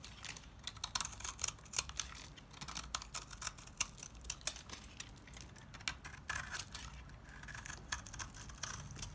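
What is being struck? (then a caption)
Bar of household soap cut with a knife. A utility knife carves crumbly chunks off a solid, dry white rectangular bar of household soap held in the hands. The result is a quick, uneven run of short, dry, bright crunching scrapes and crisp clicks that stop sharply, with a faint low rumble underneath.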